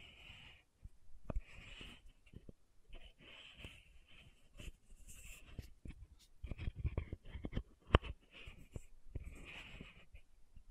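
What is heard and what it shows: A small pink Aupres plastic sunscreen bottle with a silver-banded cap is held upright in one hand while long manicured nails tap and scratch the cap. Quiet, dull taps with almost no ring alternate with soft, raspy scratching bursts, and one sharper click stands out near the end.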